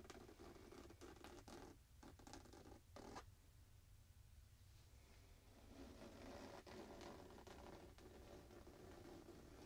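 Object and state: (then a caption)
Printed fabric pillow. A hand scratches across the printed surface of a square, soft pillow in a printed fabric case, using fingertips and nails. The result is a quiet, irregular run of dry, rustling scratch strokes over a steady low background hum, with a brief hush in the middle before the scratching picks up again.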